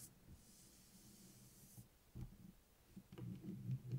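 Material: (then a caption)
Cardboard. Fingertips and nails tap and scratch the purple printed cardboard cover of a closed A5-size hardcover notebook with metal spiral binding, lying flat on a table. A soft, high scratching hiss runs through the first half, followed by quiet, dull, low thumping taps with almost no ring.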